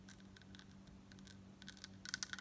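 Long nails scratch and tap across a large, flat, embossed gold-tone metal crescent pendant on a gold bib necklace chain, held up near the collar. Soft, bright scratching gives way to quicker, sharper metallic taps toward the end, over a faint steady low hum.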